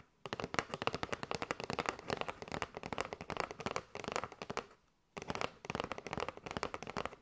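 Long nails tap rapidly on a kraft cardboard box with a window, full of paper straws. The many short, dry, crackly clicks come in quick bursts, with a brief pause just before the fifth second, then the tapping resumes.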